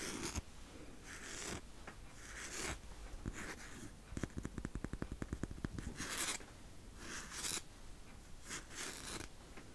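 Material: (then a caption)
Crepe paper. A large roll of blue crepe-paper painter's tape with a hollow cardboard core is held up close while fingertips and nails peel at and scratch its edge and surface. Bright, hissy bursts of scratching and peeling come and go over a low rumble, with a quick run of sharp, dry ticks in the middle.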